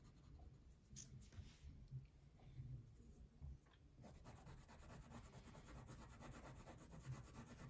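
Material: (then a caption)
Paper, wax. A purple wax crayon fills in a thin paper coloring sheet resting on a table, making quiet, soft rubbing and scratching strokes. The first half has sparser, separate strokes; after about four seconds the rubbing turns into a steadier, denser scratchy texture with a faint bright edge over a low, muffled body.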